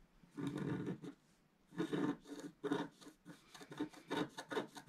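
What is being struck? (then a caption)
Wooden stylus on coated scratch-art card. A wooden stylus scrapes stripes into a flat black-coated scratch-art card, etching a blue planet. It makes dry, rasping scratch strokes in short bursts separated by brief pauses, with a low-mid body and a faint high hiss.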